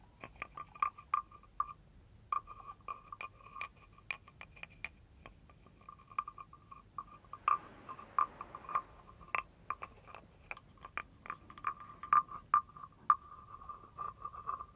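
A wooden stick is scraped and tapped along the ridged back of a hand-held carved wooden frog guiro. It makes quick, dry clicking rasps in irregular bursts with a steady woody tone around 1.2 kHz, bright overtones, and very short ring, pausing briefly near 2 seconds. A noisier, fuller scrape comes around the middle, and the clip stays quiet overall with almost no low end.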